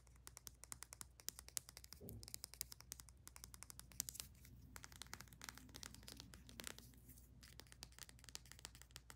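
Long nails tap quickly on a small plastic bath soak tube with a paper label and a ribbed aluminium cap. The result is a dense run of sharp, bright clicks with scratchy, crinkly touches over a faint low hum.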